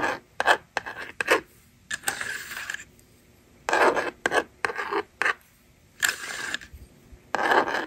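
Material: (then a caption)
Plastic. A yellow stylus scratches numbers onto a handheld plastic toy magnetic drawing board, and its plastic eraser slider is moved. The result is a series of dry, raspy scrapes in short bursts and longer strokes, with quiet gaps between them and no ring after each one.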